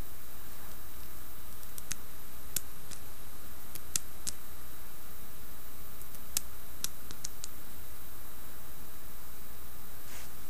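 Long fingernails tap and scratch the carved surface of a hand-sized, dark reddish-brown carved wooden seated Buddha figurine, apparently solid, held in the palm. Sparse, sharp, bright clicks and faint scratches sit over a steady low hum and constant background hiss.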